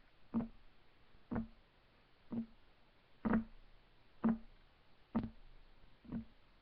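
Fingertips of both hands rapidly tap a solid, flat, light wood desk top. Seven evenly spaced, dull knocks each carry a low woody tone near 230 Hz and die away almost at once, with no bright ring.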